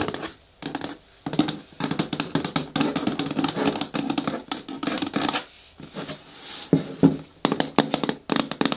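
Long natural nails tap and scratch across a hard plastic bin bucket with a lid. The result is dense bursts of quick, dry clicks over a hollow low tone, with bright scratchy edges and brief quiet pauses between flurries.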